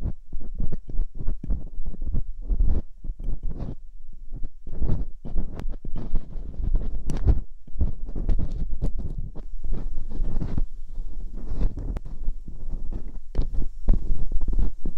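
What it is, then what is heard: Silicone ear replica scraped with a dental pick. Thin metal dental picks scrape inside the ear canals of both white silicone ear replicas on a binaural microphone. Close, rapid scratching and rubbing sounds come in quick uneven bursts, heavy and muffled in the low end, with occasional brighter clicks. The steady scraping continues without pause through the clip.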